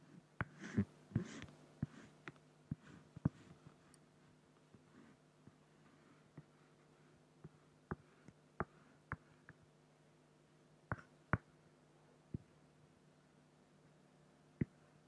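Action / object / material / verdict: scrape / acrylic plastic sheet and felt-tip pen / acrylic / none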